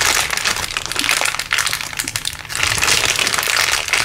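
A crumpled clear LDPE plastic bag is squeezed in the fist, giving a steady stream of bright, dense crinkling and crackling. The crinkles swell and briefly ease around the middle before picking back up to a full, continuous rustle until the end.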